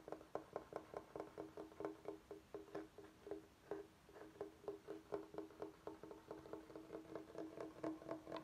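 Fingertips and nails tap and scratch along the top edge and face of a large, flat, solid bamboo cutting board. About thirty quiet, dry taps come in an uneven rhythm, each with a short hollow ring around 400 Hz and a faint bright scratch between them.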